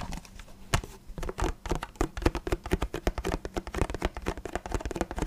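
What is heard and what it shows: Fingertips tap and scratch an empty, hollow clear plastic water bottle with a paper label. A quick, uneven stream of short, dry, low hollow taps mixes with soft scratchy rustling. Each tap dies out almost at once.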